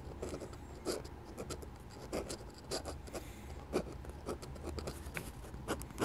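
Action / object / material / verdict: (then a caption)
scrape / steel pen nib on drawing paper / paper / none. A steel dip pen nib scratches repeated hatching strokes across a sheet of flat white drawing paper beside an ink sketch. Short, dry, bright scratches come in quick irregular bursts over a faint low background hum, each stroke ending abruptly with no ring.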